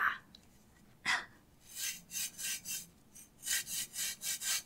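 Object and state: Kinetic sand grated on a metal grater.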